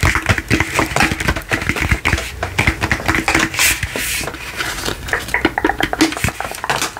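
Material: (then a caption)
Plastic. A large hollow frosted plastic light-up crystal ball on a black base is tapped quickly with fingertips and nails. The result is a dense run of short, dry, clicky taps with bright plastic ticks and a faint hollow tone around 320 Hz that dies away almost instantly.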